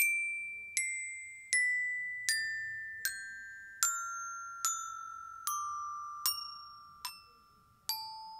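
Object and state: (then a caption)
Metal glockenspiel bars. A yellow-headed mallet taps across the solid flat metal bars of a children's glockenspiel mounted on a turquoise plastic case. Eleven evenly spaced, bright, bell-like notes step steadily downward in pitch, from about 2.4 kHz to under 900 Hz. Each note rings clearly and fades before the next strike.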